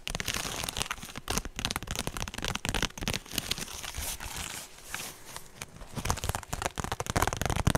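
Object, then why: Woven straw purse. A woven straw handbag is held in front of the mic and tapped and scratched with long nails on both hands. The result is a dense, dry crinkling and crackling texture of rapid taps and scrapes, bright across the top with a low, soft thump beneath. It stays busy throughout and grows louder near the end.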